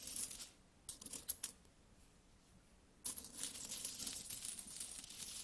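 Small solid metal coins are dropped one by one onto an open palm, clinking together with bright, high, short metallic ticks. A brief flurry of clinks is followed by a few separate ones, then a quiet pause, and then a dense run of continuous jingling until the end.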